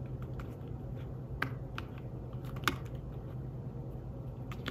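Fingertips tap steadily on the keys of a thin, flat, grey fabric-covered folio keyboard for a tablet. The soft, muted clicks carry a few sharper, brighter keystrokes. A constant low hum sits underneath.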